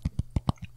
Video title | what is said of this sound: BIONICLE G2 Art Book - TTV Podcast #228 | got my book right here you can hear me tapping on it